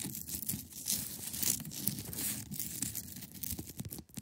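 Long acrylic nails scratch across the top and sides of a large, solid, clear ice block. The result is a steady, bright, rasping scrape with uneven swells and quick scratchy strokes over a faint low rumble.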